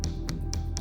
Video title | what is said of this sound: The Farming Tool Turned Weapon - Forged in Fire | The big issue I have is the handle. All of the pins have come loose. The handle itself... Isn't really glued in place.